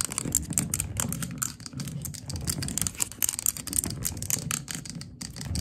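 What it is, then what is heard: Glass candle jar tapped with fingernails. Long gold glitter acrylic nails tap and scratch the glass walls of a large glass candle jar filled with pale green wax, resting on its side on the floor. Rapid, crisp clicking taps with a bright, high edge run continuously over a soft low rumble of scratching.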